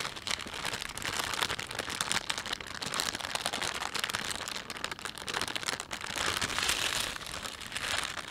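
A thin, empty panda-print plastic shopping bag is rubbed and crumpled by fingertips, giving a steady, dense crinkling with bright, hissy texture and many tiny crackles. The sound swells and eases in waves, growing fuller around the middle and again near the end.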